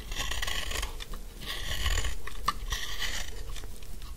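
The edges of a solid pink dry soap bar are shaved with a metal snap-off knife blade in repeated scraping strokes, and chips fall away. Dry, raspy scrapes with a bright, crackly edge come in overlapping waves over a soft low rumble, and a sharp little click cuts through midway.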